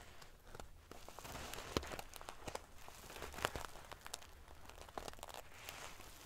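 Fingernails scratch and ruffle the silver metal paillettes covering a sequin pillow, producing a dense, crinkly rustle. Sharp, bright clicks and ticks of the small metal pieces snap over a soft, steady hiss, with a few louder flicks standing out.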